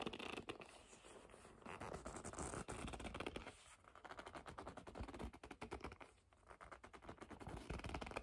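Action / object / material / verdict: scrape / leather bag / leather / none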